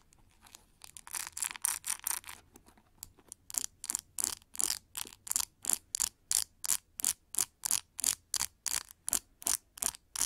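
Long nails rake and scratch through the many plastic pins of a large metallic pink plastic paddle hair brush with a white rubber cushion. Quick, dense bright scratching gives way to a steady, evenly spaced run of short, crisp, hissy strokes, about three per second, with no low end and no ring between them.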